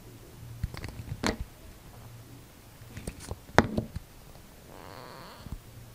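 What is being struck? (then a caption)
Bar of soap cut with a knife blade. A utility knife blade carves a hand-held, solid, dark grey/brown translucent soap bar, shaving and scraping off thin curls. Short, dry scraping and cutting strokes stand out over a faint low hum, with the sharpest cut near the middle and a soft, hissy scrape near the end.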